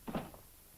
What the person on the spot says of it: when you slam the trunk lid of a ford for instance you hear a good solid sound